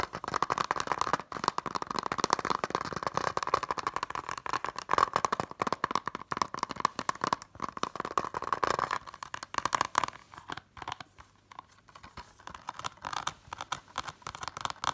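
Long nails fast-tap the back and front of a closed, hollow blue plastic Blade Runner Blu-ray case. The result is a dense stream of quick, dry clicks with a hollow tone around 1 kHz, which thins into lighter, sparser tapping after about nine seconds.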